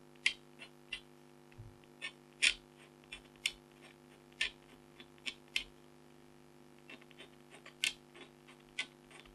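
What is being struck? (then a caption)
Black-coated scratch art card scraped with a stylus. A red-handled stylus scratches fine lines into the lower middle of a thin, flat, black-coated foil scratch art card with a tiger design, held by a hand with long blue nails. A series of short, bright, dry scratches sound at irregular intervals over a faint, steady hum, each one stopping almost instantly.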